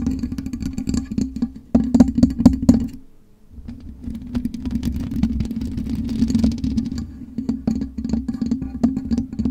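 Long nails on both hands scratch the black metal mesh grille of a USB microphone, making a dense run of quick, dry scraping clicks over a steady low hum around 250 Hz. The scratching briefly stops near the three-second mark, then continues in fast, textured bursts with some brighter, sharper ticks.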